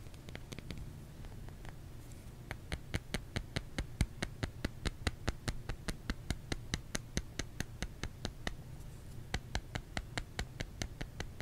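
Fingertips tap on a solid bar of soap, making dozens of quick, crisp, dry clicks with a bright edge that stop almost at once. The taps come in a loose, uneven rhythm of a little over two per second over a quiet, low, steady rumble.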